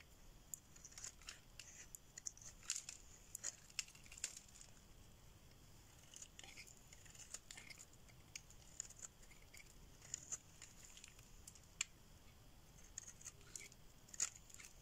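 A solid pink rectangular bar of dry soap, held in the hand, is shaved with a metal blade as flakes peel off. Quiet, bright, crisp scraping and snipping ticks come in irregular bursts over a faint steady hiss, each one dry and short with no ring.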